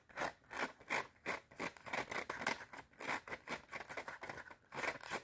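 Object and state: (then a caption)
Cardboard spiral notepad. Long red nails rapidly tap and scratch the front cover of a clapperboard-style notepad with a cardboard cover and metal spiral binding. The result is a quick, uneven run of dry, short clicks and scratchy strokes, bright with a midrange peak around 2 kHz and almost no low end.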